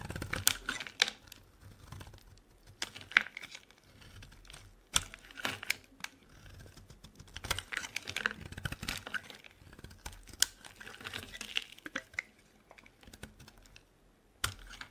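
A solid, dry, pale lilac-pink bar of soap held in the hand is shaved with a metal blade into thin curls. Each stroke gives a crisp, bright scraping crackle with sharp clicking snaps and very little low end. Quiet pauses fall between the strokes.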